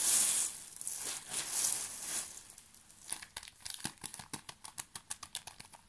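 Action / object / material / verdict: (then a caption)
scrape / thin plastic film wrapper of a pocket tissue pack / plastic film / none. A small, full pocket tissue pack in thin plastic film is held and crinkled with the fingertips. First come soft, bright swells of crinkling hiss, then a rapid, uneven series of sharp, dry crackles as the film is pressed.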